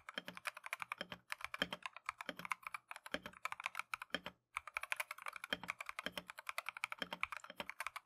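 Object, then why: Plastic mechanical keyboard. Gloved fingertips type continuously on a Keychron V1 plastic mechanical keyboard with Tangerine switches and green and cream PBT keycaps. They produce a rapid, steady stream of short, crisp, bright clacks with a few brief pauses between bursts.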